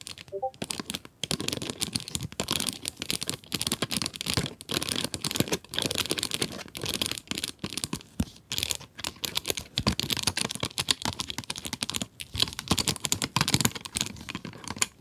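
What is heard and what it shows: Long acrylic nails tap rapidly on the clear plastic window of a cardboard pencil box holding pencils. The result is a dense, continuous stream of sharp, bright clicks and light crinkling that die away almost instantly, with little low end.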